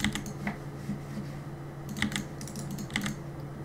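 Fingertips tap the plastic keycaps of a black mechanical keyboard in short, uneven bursts of sharp, bright clicks. The clicks ring only briefly over a steady low hum.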